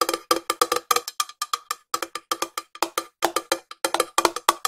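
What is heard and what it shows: A small, hollow, cylindrical silver metal tin is held in one hand and tapped on its side and lid with long nails. About thirty quick, bright metallic clicks come in an uneven rhythm, some in fast runs and some spaced apart. Each hit has a short tonal ring that fades almost at once.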